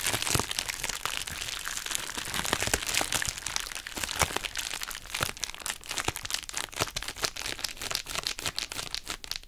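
A hollow pouch of pink heart-shaped plastic bubble wrap, held in both hands, is squeezed and scratched with long acrylic nails. It makes a dense, bright crinkling full of sharp little cracks and crunchy pops that become sparser and more separated toward the end.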